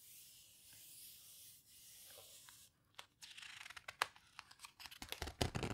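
Long-nailed fingers press and rub the pages of an open paper photo book spread to a full-page photo. A steady, bright, hissing rub runs for almost three seconds, then gives way to a brief near silence and about a dozen sharp, irregular paper crackles and clicks that grow louder and denser toward the end.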